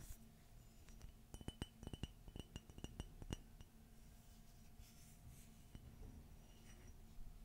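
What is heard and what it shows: A hollow, empty white glossy ceramic coffee mug with a gold Minnie silhouette and a gold handle is tapped with long fingernails. A quick flurry of sharp, bright clinks bunches in the first half, then scattered taps follow. Each tap gives a short glassy ring that dies away almost at once, over a quiet low background hum.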